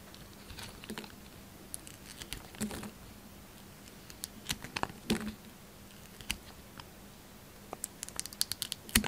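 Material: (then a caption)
Soap. A hand-sized solid bar of Duru soap, with a printed orange-and-black outer layer and a green interior, is held in the hand and shaved and carved with a yellow utility knife blade in scraping cuts. Irregular crisp, bright scrapes and sharp little cracks come in uneven bursts, each dying away almost at once, over a quiet background with a faint steady low hum.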